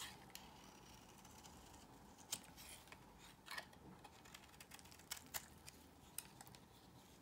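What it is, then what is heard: Bar soap shaved with a blade. A solid cream bar of soap, held in the hand, is shaved with a metal blade, giving soft, dry scraping over a low steady background. Crisp, bright ticks and short snaps come out of it at irregular moments, with a brief quieter stretch in the middle.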